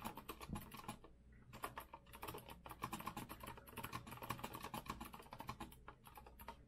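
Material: Metal.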